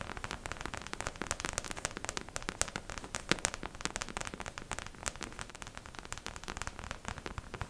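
Long pink acrylic nails tap fast all over the crown of a beige plastic mannequin head, likely hollow. The result is a dense, rapid stream of short, dry, bright clicks with almost no ring, pattering steadily like light rain or crackle.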